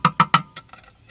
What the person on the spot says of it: Sounds like plastic, doesn't it? No, it's metal.